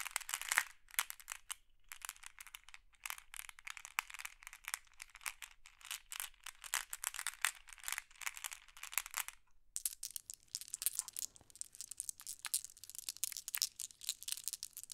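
Small, solid, flat glass pebbles are picked from a wooden tray with fingertips and rattled in cupped hands, making a dense stream of bright, sharp glass clacks. There is a brief pause near the ten-second mark, and then the clattering resumes with a slightly thinner, crisper texture.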